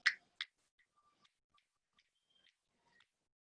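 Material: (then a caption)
Tooth enamel. Natural teeth tap together, one contact after another, producing two sharp, bright clicks near the start, followed by faint ticks. The tapping comes from a premature contact on the left back teeth, an uneven bite; when the jaw is guided backward, there is a discrepancy of about 5 mm.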